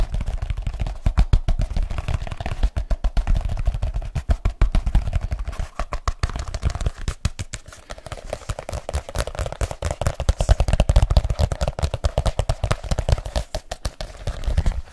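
Fingertips tap quickly on a black leather case, held overhead and then in front. The result is a fast, dense stream of short, dull thumps, heavy in the low end with very little brightness, and each tap dies away almost at once.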